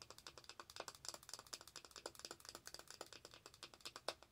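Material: Plastic.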